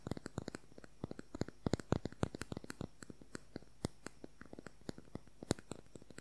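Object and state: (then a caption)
Plastic concealer tube tapped. Fingernails tap fast on a small, hollow, slim cylindrical beige plastic concealer tube with a cap, producing about 37 quick, dry clicks in 6 seconds. Each tap is sharp with a hollow low thud and no ring, some louder than others, over near silence.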